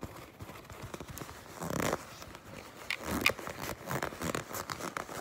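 Long pink nails grip and scratch along the seamed edge of a black leather jacket. Soft, dense crinkling and scraping continue throughout, with a louder creaking swell near two seconds and a few short squeaky bursts around 2.4 kHz just after three seconds.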